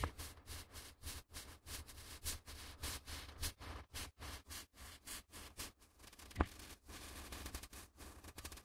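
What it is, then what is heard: Stack of A4 printer paper. Gloved fingertips repeatedly flick and riffle the edges of a small stack of white A4 printer paper sheets held close to the microphones. The result is a steady run of quick, dry, papery snaps and rustling bursts, with a bright, crisp texture over a soft low rumble and one sharper crack partway through.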